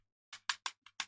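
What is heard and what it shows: Five light taps on the coal carriage of a large, primed model train kit, probably made by Revell, held in the hand before being repainted. Each tap is a short, bright, dry click with almost no low end and very little ring.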